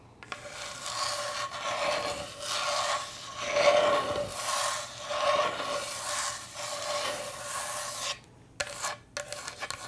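A wooden cutting board is scratched in a steady, dry wooden rasp that swells and fades in long strokes, with a faint tone near 600 Hz running through it. The rasping stops abruptly near the end and gives way to a few short, separate scratches and taps.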